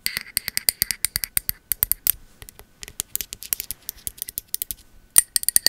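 A pink ceramic candle vessel with a bamboo lid is tapped and scratched on the lid and the labelled bottom with long metal nail caps. The result is a quick run of crisp, bright clicks and ticks with almost no ring or low end, easing into a softer, scratchier stretch midway before sharper taps return.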